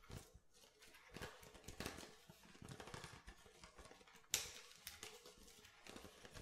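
Fingernails tap rhythmically on the bottom of an empty, hollow, clear plastic water bottle, making quiet, bright, hollow clicks with little ring. Partway through, the bottle is turned sideways with a sharper crackle, and the light tapping then continues.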